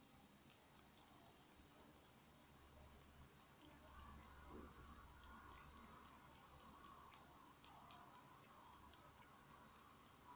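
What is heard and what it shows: A small, hollow, capped black plastic marker pen is held upright in both hands while fingertips and short nails tap and scratch along its barrel. About nineteen quiet, sharp, bright clicks come at an uneven pace, mostly in the second half. Soft scratching and a faint low hum sit underneath.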